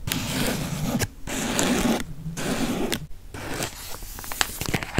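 A partly opened yellow crinkly plastic cookie wrapper is squeezed and crinkled with fingers close to the microphone. Dense, crackling rustles come in bursts separated by brief quiet gaps. Toward the end they thin into sparser, sharp individual crackles.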